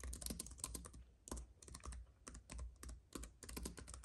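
A slim white wireless keyboard with plastic keys on a silver aluminum base, lying on a dark fabric mat, is typed on steadily with the fingertips of both hands. The keys give quick, light clicks and taps in bursts with short pauses, each with a bright top and a soft low thud and almost no ring.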